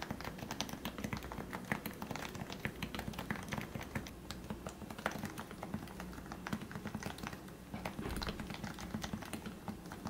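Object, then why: Plastic Topre keyboard. Fingertips type steadily on a lubricated plastic Leopold FC660C Topre keyboard with 45g switches, producing a dense stream of soft, muted thocks with brief bright clicks. The keystrokes have a low, rounded body and stop short with almost no ring.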